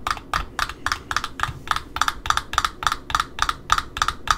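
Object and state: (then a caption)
Cardboard ribbon spool end disc. Long nails tap and scratch the face of a cardboard end disc around the center hole of an Offray black satin ribbon spool. Sixteen quick, dry clicks come in a loosely steady rhythm, each with a hollow tone near 1.2 kHz and a bright papery scratch above it that dies away almost at once.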